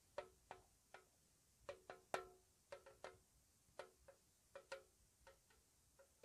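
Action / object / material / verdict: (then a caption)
tap / small square metal tea tin / metal / none. Long nails tap slowly on the lid and side of a small, hollow, square white-painted metal tea tin. Each tap is a light, dry tick with a short hollow ring around 380 Hz and a brief bright edge. The taps come at an uneven, unhurried pace over quiet background.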